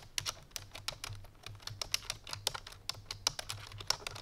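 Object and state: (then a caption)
Plastic computer keyboard being typed on. Fingertips and painted nails of both hands type quickly on a full-size black plastic computer keyboard resting on a white fur rug. A rapid, uneven stream of sharp, bright clicks comes with each keystroke dying away almost instantly, over a faint low hum.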